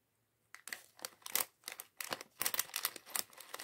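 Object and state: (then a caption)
Plastic bag of LEGO bricks. A small clear plastic bag filled with LEGO plastic bricks for the Mindstorms mini bot set 40413 is held in both hands while fingertips crinkle and shake it. After a brief silence, a rapid series of bright, crisp crinkling bursts and rattles follows, with almost no low end and very short decay.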